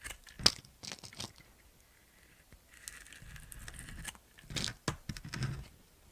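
A utility knife blade carves and scrapes the surface of a handheld solid white bar of soap with a black glitter coating. Sharp, bright crunching cuts and gritty crackles come in short bursts, with a quieter, sustained scrape in the middle and a cluster of crisp cuts near the end.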